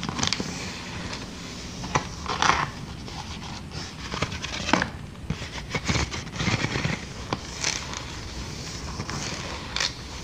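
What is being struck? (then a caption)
Inflated plastic air-column packaging. Clear, air-filled plastic air-cushion packaging with inflated columns is gripped, squeezed and tapped with long dark nails. The result is a run of crinkling, scraping rustles broken by sharp, short clicks and taps over a steady low background.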